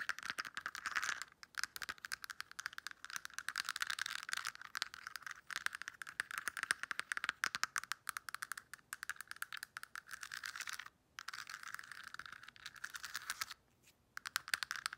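Long acrylic nails tap rapidly on the hinged lids of a clear pink plastic weekly pill organizer, rattling the pills inside. The result is a dense, dry stream of quick, bright plastic clicks and rattles centered around 1.6 kHz, with almost no low end and brief pauses near 1.5, 11 and 14 seconds.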